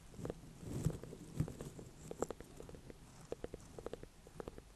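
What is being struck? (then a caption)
Small ornamental pumpkin, gourd rind. A small ribbed orange-and-cream ornamental pumpkin with a firm, hollow-ish rind is held in both hands on a bed of hay and tapped and scratched with long dark-painted nails. It gives an irregular series of soft, quick, dull knocks with a low hollow body, mixed with faint scratchy rustling.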